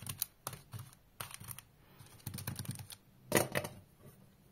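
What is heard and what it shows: Fingertips and short nails tap and rub the closed lid of a round, plate-sized blue painted metal M&M's candy tin lying on a green rug among Milky Way wrappers. Light, crisp clicks with bright metallic ticks come in quick irregular bursts, mixed with soft scratchy rubbing. Each tap dies away almost at once, with the loudest pair near the end.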